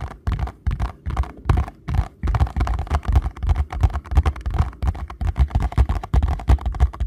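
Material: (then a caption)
Paperboard. A small paperboard box is held in both hands while fingertips and nails tap and scratch its printed front. The result is a rapid, uneven run of dull, low thuds with soft scratchy texture between them. Each tap dies away almost at once.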